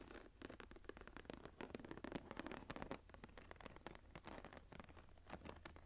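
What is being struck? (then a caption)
Embossed leather journal cover. Long nails of both hands scratch the upper part of the textured cover of a closed embossed leather journal lying flat. Dense, rapid dry scratching and pattering comes in quick bursts with short, dull, unringing strokes.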